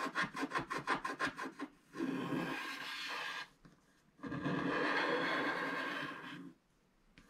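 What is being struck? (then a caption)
Wax-coated scratch art card scratched with a wooden stylus. A wooden stylus scratches along the right edge of a solid black wax-coated scratch art card lying flat, first in twelve quick, rhythmic strokes. These are followed by two long, steady scrapes with a dry, gritty hiss that is strongest in the mids and upper mids.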